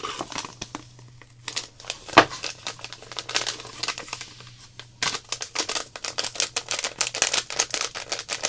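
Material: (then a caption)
Plastic. Long black nails and fingertips crinkle, squeeze and tap a small clear plastic zip-lock packet full of loose gold glitter held in the hands. Bright, crisp crinkles and quick clicking taps come in uneven bursts, with a sharp crackle near the two-second mark. After a brief lull, the tapping returns faster and denser to the end.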